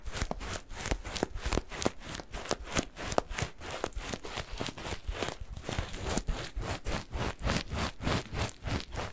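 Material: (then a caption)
Latex, cat litter. A yellow latex balloon filled with granular cat litter is squeezed and kneaded with fingers. Each squeeze gives a short, gritty crunch with a rustling, bright crackle over a soft low thud. The crunches repeat in a fast, uneven series of about three per second throughout.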